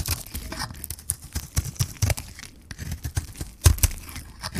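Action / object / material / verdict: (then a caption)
scrape / bar of soap scraped by a metal blade / soap / none. A metal blade scrapes shavings off a hand-held solid white bar of dry soap with a magenta rim. A rapid series of short, crisp scraping and crunching strokes comes through with a dull, low body, and the loudest strokes land near the end.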